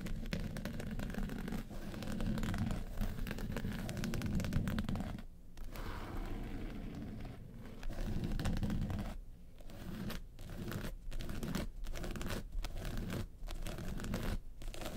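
Long pointed nails scratch the lid of a small hollow hard makeup case covered in woven-texture yellow faux leather. The result is continuous low, rough scraping and crackling with a few brief pauses near the end.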